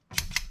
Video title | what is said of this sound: 프린팅에코팁경도계 THL-500 | 이렇게 경쾌한 소리가 들려야 되는데